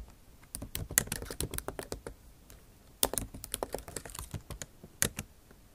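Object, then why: Laptop keyboard with plastic keys. Long acrylic nail tips type on the bare plastic keys of a backlit MacBook Pro keyboard set in an aluminum body. Bursts of sharp, bright clicky taps come in quick runs, with a short pause between bursts.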